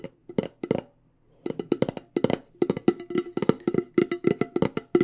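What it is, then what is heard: Metal tea tin tapped with nails. A medium, decorated, hollow cylindrical metal loose tea tin with a light-colored lid is held in hand and tapped on the lid and sides with long dark-painted nails. About two dozen quick, dry, hollow taps carry a light metallic tone near 440 Hz, each fading almost instantly. A few scattered taps and a brief pause lead into a steady, rapid tapping run.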